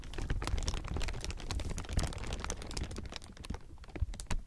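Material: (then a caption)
Plastic film. A large heap of thin, clear plastic film is squeezed and crumpled between fingers, producing a dense, continuous crinkle of sharp, bright crackles over a heavy low rumble. The crackling is busiest in the first few seconds, then thins into sparser, separate snaps toward the end.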